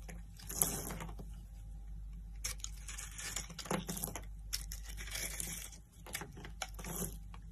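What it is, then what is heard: Dry solid soap bar being scraped. A metal knife blade scrapes and shaves the surface of a solid, dry pink-white soap bar held in the hand, cutting it into flakes. Bursts of bright, crunchy scraping come and go over a steady low hum, with quieter pauses between strokes.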